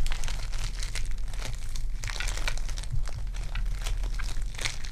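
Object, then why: Foam bead clay. Fingers with long dark nails knead purple foam-bead clay, pulling it into two pieces and pressing them back together. A steady stream of bright, crinkly crackles and small pops runs throughout, over a constant low hum.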